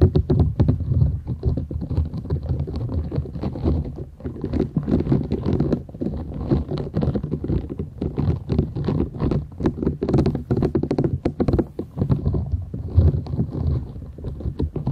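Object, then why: Silicone scrubber sponge. A thin, solid, flat purple silicone scrubber sponge with short bristles is held folded in both hands while long nails scratch and rub across it. The result is a steady, dense stream of quick, dull scratching and rubbing strokes with a heavy low, rumbling body and little bright content, continuing throughout with small swells in loudness.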